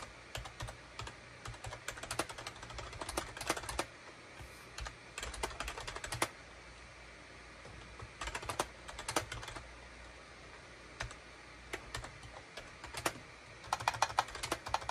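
Fingertips type on a full-size gray and beige SHIPADOO K600 wired USB keyboard with hollow plastic keycaps. Quick, bright plastic clicks come in bursts separated by short pauses. Each tap dies away almost at once over a low, steady background hum.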